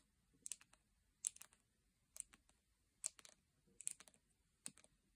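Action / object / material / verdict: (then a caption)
tap / round plastic jar of salt scrub / plastic / none. Long painted nails tap a full, round plastic jar of salt scrub with a printed lid, resting on a blanket, striking both the lid and the sides. The taps come in about six short clusters of quick, dry clicks that are bright and high with almost no low end. Each click dies instantly with no ring, leaving quiet gaps between clusters.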